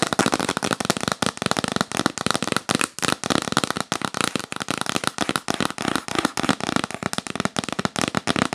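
Long nails tap fast and hard on the lid of a yellow printed cardboard box held upright. The result is a dense run of sharp, dry, crackly clicks that stop instantly, with some low thuds mixed in.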